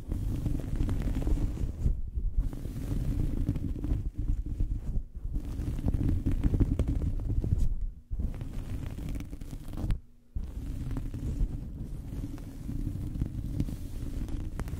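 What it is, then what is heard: Cloth towel scratched over a microphone. Long fingernails scratch a small fabric towel draped over a microphone, making a steady, muffled, low rumbling scrape with almost no brightness. The scratching runs continuously, with brief pauses around 2, 5, 8 and 10 seconds.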